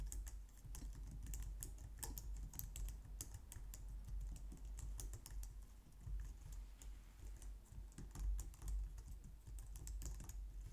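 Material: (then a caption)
Plastic. Long nails and fingertips type steadily on a compact, low-profile white plastic computer keyboard. The result is a continuous stream of quick, bright clicks and taps that die away almost instantly, over a steady low hum.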